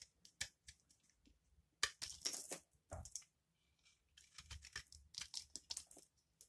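A palm-sized, rectangular solid yellow bar of dry laundry soap is held in one hand while a small metal blade scrapes and shaves its edge, so soap shavings fall away. Short, dry, bright scraping and crackling strokes come in quick bursts, with a few longer rasping passes and brief pauses between them.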